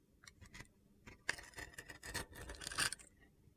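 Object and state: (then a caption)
Glitter soap bar being scraped. A utility knife blade scrapes and cuts into a solid, glitter-coated bar of soap with a crosshatch-scored surface, held in hand, shaving off crunchy flakes. A few light, bright ticks in the first second give way to a dense run of gritty, crackling scrapes that swell through the middle. The sound then fades to quiet near the end.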